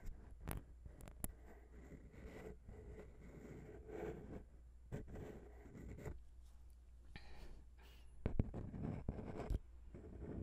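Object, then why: Metal microphone capsule on a handheld recorder. A single long pink fingernail taps and scratches the small chrome microphone capsule of a grey Zoom H6 recorder. Quiet, short clicks and soft scraping sit over a steady low hum, with a few sharper taps near the end.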